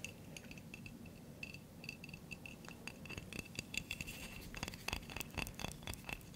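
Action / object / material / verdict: tap / glass coffee jar with metal lid / glass / none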